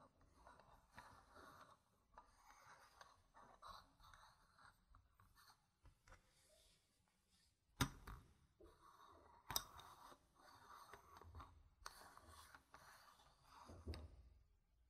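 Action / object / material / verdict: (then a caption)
scrape / small plastic board-game tokens on a fabric mat / plastic / none. Long red-painted nails and fingertips rub and scratch across many small, solid, round plastic board-game tokens with printed gem stickers, scattered on a dark fabric mat. Quiet, uneven scratchy rustling runs throughout, broken by a few sharper clicks of the plastic tokens knocking together.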